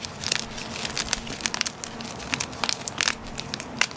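Hard, solid pieces of a broken gym chalk block are squeezed, crumbled and rubbed by gloved fingers and palms in a container of chalk powder. The crumbling makes a steady stream of bright, crunchy crackles and sharp snaps over a soft, gritty rustle.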